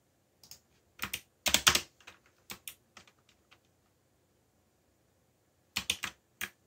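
Fingertips type on the clicky keys of a backlit black plastic mechanical keyboard, producing a dozen sharp, bright clacks in short irregular bursts. A pause of about two seconds separates the early bursts from a final quick flurry. Each click is crisp, with almost no low end, and dies away almost instantly.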